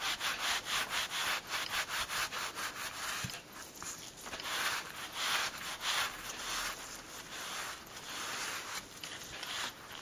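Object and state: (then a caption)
Leather glove being rubbed. A soft, thin green leather glove lying flat on a towel is rubbed with a white cloth and pressed by blue latex-gloved fingers. Quick, loosely rhythmic back-and-forth strokes make a bright, airy scuffing hiss with little low end. The strokes come in steady bursts that swell and ease throughout.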